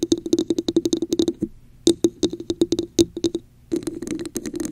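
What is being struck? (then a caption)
Textured plastic cup. Long acrylic nails tap and scratch the top and sides of a hollow red plastic cup with a raised diamond texture, held over a microphone. Quick, sharp taps with a hollow tone around 340 Hz and bright clicky edges come in bursts with brief pauses. The clip ends in a denser stretch of scratchy tapping.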